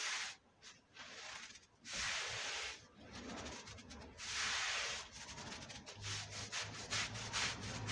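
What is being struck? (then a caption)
Wet wool rug scrubbed with a stiff brush. A long-handled stiff push brush scrubs back and forth across a dirty red patterned woven wool Persian rug lying flat on a white floor, wet and covered in powder and foam. Long, bright, hissing rasps of bristles dragging through the wet pile alternate with brief quiet gaps, then give way to quicker, shorter strokes over a faint low hum near the end.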